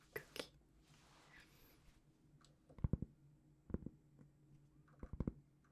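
A large, flat, solid round cork trivet about the size of a plate is held up in both hands and scratched and tapped with long painted fingernails. Two soft taps open the clip, followed by a faint, airy scratching across the surface. Then come quiet clusters of dull, low, muffled taps that die away almost instantly.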